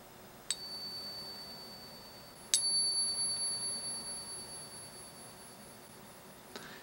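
A genuine gold Double Eagle coin is tapped three times for a ping test, each tap giving a bright metallic ring with clear tones. The second tap rings loudest and sustains for several seconds, and the third tap is faint. The ring is lower pitched and more sustained than a counterfeit's, which marks the coin as real.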